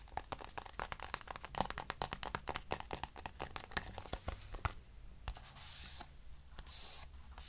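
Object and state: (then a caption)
Cardboard box scratched with nails. Long nails rub and scratch the surface of a small, hollow, lavender-grey cardboard box. For about the first five seconds there is a dense run of quick, dry scratching clicks. These then thin out into sparser taps and soft, bright, hissy rubbing swishes.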